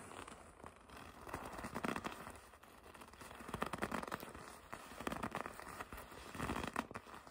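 Soft red leather from a jacket is bunched up and gripped with long red nails, giving quiet, dense crinkling and creaking in a mid-range, papery texture. The crackly rustle swells and fades in several waves as the grip tightens and loosens, staying soft and close throughout.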